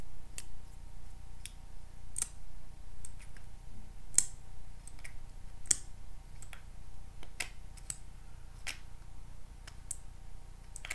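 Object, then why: Small plastic lip gloss tube. A small pink plastic lip gloss tube, held between the fingers, is tapped and scratched with paper clip nails. Sharp, bright clicks and ticks come at an uneven pace, each dying away almost at once, over a steady low hum.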